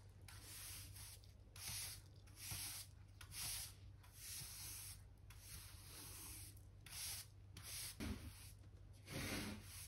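A soft-bristle hand brush, held in the fingers, sweeps along solid, pale pine wooden floorboards beside the skirting, clearing small specks of dirt. The strokes make a steady, bright, hissing scrub that rises and falls in repeated swells, over a faint low hum.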